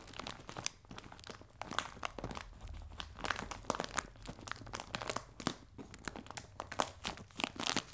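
A clear plastic bag full of biscuits, resting on a table, is crinkled and scratched with fingers and nails. It makes a continuous, bright crinkling full of quick, sharp crackles and crunchy rustles, rising and falling in short bursts throughout.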